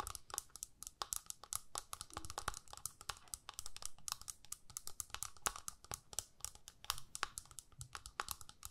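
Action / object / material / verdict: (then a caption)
tap / small flat plastic eyeshadow palette with a clear lid / plastic / none. Long nails rapidly tap and scratch the clear lid of a small, flat plastic eyeshadow palette held in the hands. The result is a steady, irregular stream of dry, bright clicks with crisp, very short decay, mixed with scratchy crinkling between the taps.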